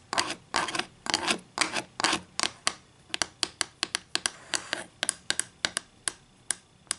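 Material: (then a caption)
Wood. Long green acrylic nails work over a flat, solid wooden ruler lying on a table. For the first three seconds they make longer scratchy strokes, then quick, separate taps. The sound is bright, crisp and dry, with almost no low end and very little ring after each tap.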